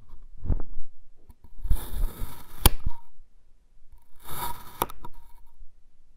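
A dark iridescent metal knife slices a solid red kinetic sand mound into thin layers that fall over. Two gritty, hissing slicing passes are heard, each ending in a sharp click, with soft, low, dull thumps between them.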